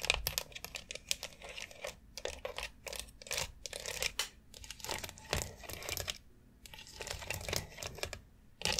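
Long acrylic nails scratch and tap between the rounded plastic nubs of a long white foot massage board made of hollow molded plastic. Rapid, bright, dry clicks and scratchy rasping bursts come in quick clusters with brief pauses, each tap dying away almost instantly with no ring.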